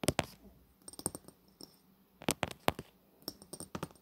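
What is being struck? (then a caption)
Coated glass cosmetic bottle. Fingernails tap along the body of a long bronze-coated glass cosmetic bottle, giving about fourteen quick, light taps in loose clusters with short pauses between them. Each tap is a crisp, bright click with a faint glassy tone and almost no ring.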